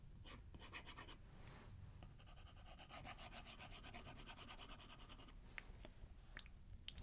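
A plastic stylus makes many quick strokes and taps across the glass screen of an iPad tablet while writing and sketching. Soft, close scratching and tapping sit over a low rumble, with a steady run of bright, gritty stroke texture in the middle and a few sharper taps near the end.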